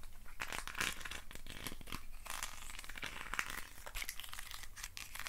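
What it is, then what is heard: Wooden stick box scratched. Fingertips and nails scratch and rub the ribbed sides of a hand-sized hollow hexagonal box made of thin wooden sticks. A dense run of quick, dry raspy scrapes and crackles carries bright, papery highs over a low rumble, each stroke dying away almost instantly.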